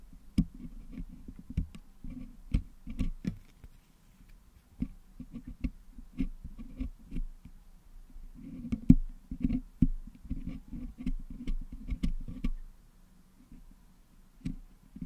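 Two wooden toothpicks poke and scratch into the metal mesh grille of a Blue Yeti microphone head, which is packed with yellow-green putty, to clean the putty out. The sound is a quiet run of soft, dull clicks and short, muffled scrapes, mostly low in tone with faint bright ticks. The taps come in irregular bursts with brief pauses between them.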